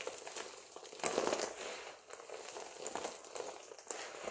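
A pile of multicolored dry soap flakes is scooped and squeezed in both hands, giving a steady, dense crunching and crumbling. The crackle is bright and papery, with no low end. It is loudest in a burst around the one-second mark and continues throughout.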